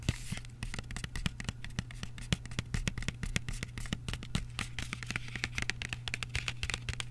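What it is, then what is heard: Cardboard chocolate box, scratched and tapped. Fingertips and short nails rapidly scratch and tap the face of a small, flat Lindt 85% cocoa dark chocolate box made of thin printed cardboard, with the chocolate still inside, while both hands hold it. A dense stream of short, dry clicks and scratchy bright rasps plays over a steady low hum.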